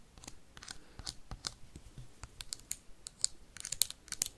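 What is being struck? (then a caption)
Plastic hand sanitizer bottle. A partly filled clear plastic hand sanitizer bottle with a label and white cap is rapidly tapped and scratched with paperclips on the nails. A quick, irregular run of quiet, crisp clicks and scratchy ticks is heard, mostly high and bright with very little ring after each hit.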